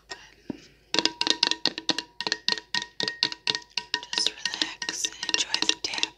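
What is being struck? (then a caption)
Wax-filled glass candle jar with perforated metal lid. Long nails tap rapidly on the perforated metal lid of a glass candle jar full of wax, then move to tapping on the glass side. Each tap is a bright, dry click with a very short decay over a faint steady ringing tone. The tapping runs in quick, uneven bursts.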